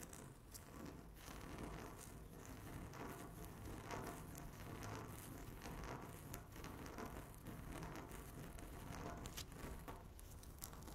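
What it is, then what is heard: Laminate tabletop being scratched. Long natural nails scratch a flat, solid speckled laminate tabletop with both hands. The result is a steady, dense scratching and crackling texture with no pauses, a full low body under bright, sharp streaks.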